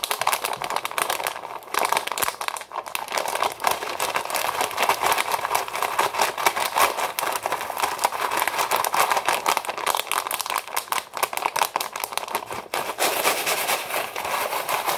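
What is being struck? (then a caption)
Foil-lined plastic pouch of dry pasta. A foil-lined plastic Knorr Pasta Sides pouch full of dry pasta is crinkled and squeezed with the fingers, then flipped. It gives a steady, dense crackle and crinkle centered around 1 kHz, with bright, sharp edges and almost no low end. It holds at a fairly even level for the full fifteen seconds, with brief dips between grips.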